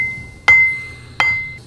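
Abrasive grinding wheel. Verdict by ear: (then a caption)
Sound. An uncracked abrasive grinding wheel is tapped twice, and each tap gives a clear, high metallic ring near 2 kHz that sustains between and after the strikes. The steady ring shows the wheel has no crack.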